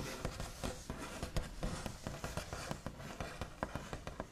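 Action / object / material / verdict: tap / wooden table top / wood / none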